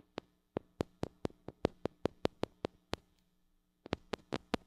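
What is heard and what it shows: Long acrylic nails tap and scratch the metal mesh grille of a small gold-colored mini microphone with a metal body and hollow head, held in one hand. A quick series of sharp, bright clicks with a low hollow thump under each repeats unevenly, then pauses for about a second before a final few taps.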